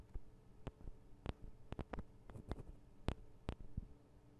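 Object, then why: Metal and plastic microphone capsule housings. Long acrylic nails tap and scratch on the sides of the two small hollow metal-and-plastic microphone capsules of a Tascam DR-40 recorder. About ten quiet, short, dull clicks sound at irregular intervals over a low, steady hum. Each tap dies away almost instantly.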